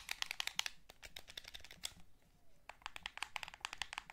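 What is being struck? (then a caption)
Plastic game controller. A hollow blue plastic PS3 DualShock game controller is held in both hands while fingertips press its buttons and thumbs rub the analog sticks. Quick, bright, dry plastic clicks with almost no ring come in rapid bursts, separated by a quieter stretch of soft rubbing before the clicking picks up again.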